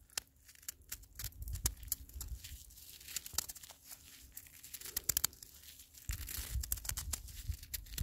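A handful of icy snow, snow that has turned to ice, is held between gloved fingers and squeezed until the crystals crush and crumble away. Sharp, bright crunches and crackles snap out over a low, muffled rumble of handling, with busier bursts of grinding near the middle and end.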